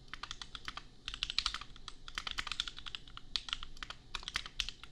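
A compact $250 custom mechanical keyboard with Gateron Milky Yellow switches and red and pink plastic keycaps is typed on rapidly with the fingertips of both hands. The keystrokes come as a steady stream of short, bright plastic clacks with almost no ring, over a faint low hum.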